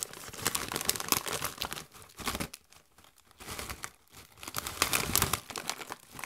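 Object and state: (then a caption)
Plastic foil chip bag, crinkled. A Doritos chip bag made of metallized plastic, partly full of chips, is squeezed, crinkled and shaken by gloved hands. Dense, bright crinkling and crunching comes in bursts, separated by brief quieter pauses around the middle of the clip.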